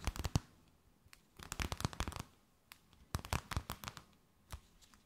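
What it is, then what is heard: Thin plastic bag crinkled and tapped. A thin, empty, clear plastic bag held between both hands is tapped, scratched and crinkled with long nails. Quick, sharp crackles and taps come in three dense bursts separated by near-silent gaps, followed by a few scattered clicks. Each sound is dry and bright with almost no ring.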